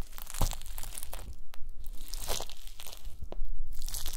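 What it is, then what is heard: Gelatin jelly cubes being crushed. A wooden masher's round end presses down on and crushes a pile of small pink translucent solid gelatin jelly cubes resting on a white mesh mat. Repeated crunchy, wet crushing and crackling sounds come in short bursts with brief bright edges, as the cubes break apart under the pressure.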